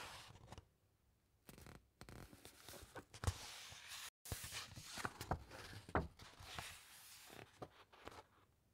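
Fingertips rub the thick, uncoated pages of an open encyclopaedia, then a page is turned. Quiet papery brushing and dry rustling come in uneven swishes, with a few sharper crinkles and a brief silent break midway.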